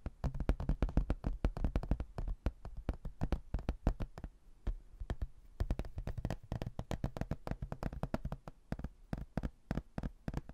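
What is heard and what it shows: Fingernails rapidly tap and scratch along the edges of a rigid, solid, thin laminated hardboard placemat printed with a photo of a white building, held in both hands. The result is a dense stream of short, dull, low-heavy clicks and knocks with very little ring, broken by brief lulls.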